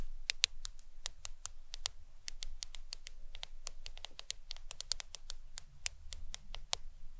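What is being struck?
Smartphone glass screen.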